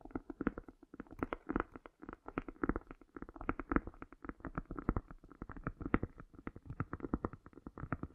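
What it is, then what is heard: Cork coaster. Long nails rapidly tap and scratch both faces of a round, flat, solid cork coaster held partly tilted on a fur rug, with an echo effect applied. The result is a dense, irregular stream of dull, woody clicks and soft thuds centered in the low-mids, each dying away quickly, with very little bright content.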